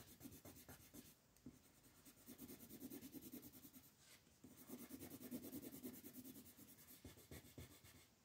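A brown wooden colored pencil shades a large sheet of printed coloring-book paper lying flat on a wooden table, while the other hand, with long painted nails, rests on the sheet. Quick, fairly steady back-and-forth strokes make a soft scratchy rubbing with a bright, papery hiss. The strokes swell into two louder stretches before easing off.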